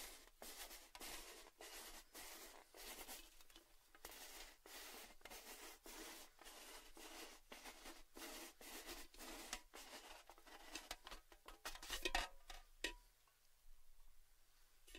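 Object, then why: Cylindrical metal tin. A hollow red cylindrical metal Baileys gift tin has its rim and top tapped with fingertips and nails, producing rapid, bright, clicky taps with a short metallic ring around 1.9 kHz. The tapping runs steadily, peaks in a few sharper knocks near the end, and then the tin is tilted, leaving a quieter, hissy tail.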